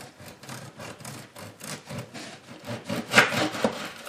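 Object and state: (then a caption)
Crispy, crunchy bread crust. A knife saws through the crust of a freshly baked beer bread loaf that has rested for about ten minutes, producing rapid, uneven back-and-forth rasping strokes. The dry, bright crackling grows louder toward the end as the blade breaks through. The crust is crispy and crunchy, even on the bottom.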